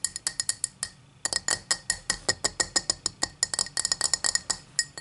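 Long matte black nails tap and scratch a tall, empty cut-crystal highball glass lying on a towel. A quick, uneven series of bright, clinking taps with very short ring rises over soft scratching, with a brief pause about a second in.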